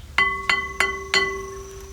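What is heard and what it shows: A previously cracked cast iron brake drum from a G518 army trailer, brazed back together, is struck four times. Each strike gives a bright metallic ring with steady tones, the loudest near 2 kHz plus lower and higher partials, that sustain and overlap between hits and fade slowly after the last. The repaired drum rings well, showing no further cracks.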